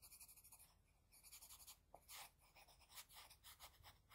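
A wooden HB pencil's graphite tip makes rapid, short scratching strokes across a flat white drawing sheet while shading an eye. The quiet, bright, papery scratches come in a quick rhythmic series of soft bursts with no ring between strokes.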